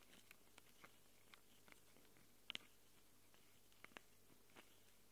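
Long glitter nails scratch and tap the metal mic capsule rings of a small black handheld Tascam recorder. Sparse, sharp, bright clicks and scrapes stand out over a quiet, steady low hum and hiss, with the loudest pair of ticks landing close together mid-clip and another pair near the end. Each click is very short and dies away almost instantly.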